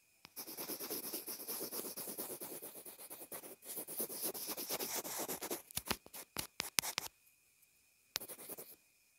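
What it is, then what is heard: Plastic earphone remote scratched with a pencil. A pencil point rubs and scratches across a small white plastic inline earphone remote/mic, making a dense, bright, continuous scratching for about five seconds. The scratching breaks into a run of sharp, separate clicking scratches, then a pause and a final short burst of scratching. A faint steady tone hums underneath throughout.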